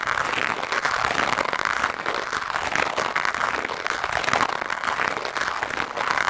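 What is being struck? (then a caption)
Foam microphone windscreen and nylon-bristled brush. A black foam microphone windscreen is brushed rapidly with the stiff white nylon bristles of a lime-green scrub brush. The result is a dense, continuous, scratchy rustle centered in the midrange with a bright hiss on top, rising and falling slightly with the strokes and almost no low end.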